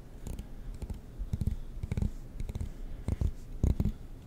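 A black plastic comb has its teeth strummed with a fingertip and nail close to the mic, making short bursts of dry, rapid clicking and scratching. The strums come in quick clusters with a low, thumpy body and faint bright ticks, each dying away almost instantly.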